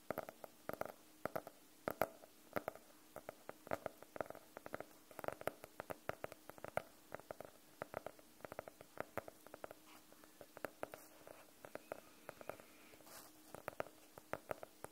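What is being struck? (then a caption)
Faux-leather hardcover notebook. Fingernails and fingertips tap on the cover of a navy faux-leather hardcover notebook, held flat and upright above the mic. A quiet, uneven stream of short, dry clicks and soft thuds sits mostly in the midrange, with almost no low end or bright top. Each tap dies away instantly.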